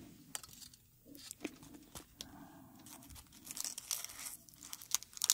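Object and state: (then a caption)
Dried rose crumpled by hand. A dried dark red rose head is held in the hand while fingertips crumple and rub its dry petals. The result is a quiet, bright, irregular crinkling and crackling, with sharp, brief snaps scattered through it and growing denser toward the end.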